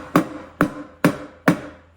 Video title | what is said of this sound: How to Properly Install Hubcaps and Skirts | When it's down, it thunks. It's a deeper, lower noise, and there's no gap.